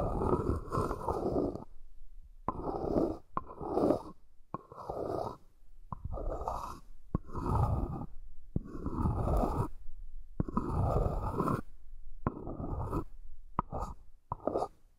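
A stacked pair of small, light, hollow wooden hexagonal accessory boxes, held together on a fluffy blanket, has its sides tapped and scratched with long nails. Bursts of dry, hollow scratching sit mostly in the low and mid range, separated by brief quiet gaps and punctuated by sharp taps.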